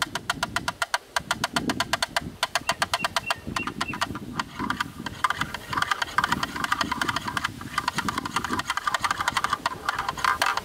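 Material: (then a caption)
Plastic. A black, rectangular, hollow plastic camera lens hood, held in the hands with its front side facing forward, is tapped and knocked rapidly on its inner edge with a thin bamboo stick. The result is a fast, steady stream of short, dry, clicky taps with a hollow tone around 1.2 kHz and a bright edge, over a soft low rumble.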